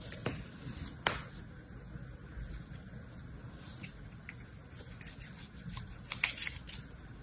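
Pink kinetic sand, solid-packed into a small hand-held orange square plastic mold, is scraped and cut across its surface by a metal blade or spatula. Soft, bright scraping and crunching runs throughout, with sharp clicks near the start and a louder burst of crisp cutting toward the end.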